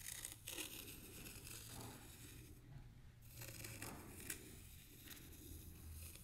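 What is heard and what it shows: The tip of a thin bamboo stick scratches and draws through a shallow layer of fine white sand in a small black square tray. Quiet, gritty scraping strokes come in short bursts of bright hiss over a steady low rumble.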